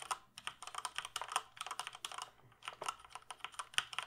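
Fingertips press and type on the keys of a black plastic mechanical computer keyboard held up in front of the face. The result is a quick run of bright, crisp plastic clicks and clacks that die away almost instantly, with a short pause just before the typing picks up again.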